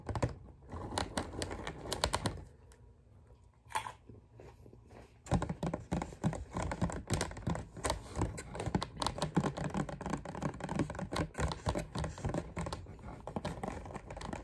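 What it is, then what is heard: Clear plastic clamshell container. Fingertips tap and scratch the top of the lid of a clear, thin-plastic clamshell container with grapes inside, held in one hand. Rapid, irregular plastic clicks and crinkly scratches run throughout, with a quieter, softer scratching stretch between about 2.5 and 5 seconds before the brisk tapping resumes. The taps are short and dry with a dull low body and bright, crisp edges.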